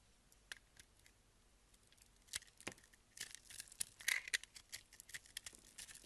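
A box-cutter blade scrapes the crunchy yellow-pink soap-crystal coating off a solid egg-shaped soap block held in hand. Sparse, dry, bright crackling scratches at first give way to denser bursts of crisp crunching in the second half, with almost no low end and no ring after each scrape.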